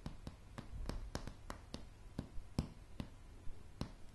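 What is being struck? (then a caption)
Pine wooden floorboards. Long polished nails tap slowly on a solid light pine plank floor, giving 13 sharp, separate clicks. Each tap is brief and bright, dying away almost at once over a faint low rumble.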